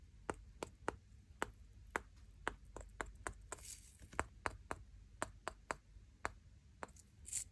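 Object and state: Wooden nail brush tapped and scratched.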